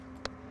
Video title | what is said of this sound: [NCTV] Les Coulisses de la Science - Géologie | en tapant on sent que des fois ça sonne mieux voà la roche est plus dure là